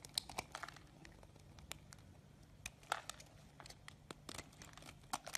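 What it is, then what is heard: Bar of soap being scraped. A small knife scrapes a solid lime-green bar of soap, curling shavings that pile up beside it. The sound is a quiet run of crisp, bright, crinkly scrapes and sharp little ticks over a faint low background hum. Each stroke is dry and short, with no ring after it.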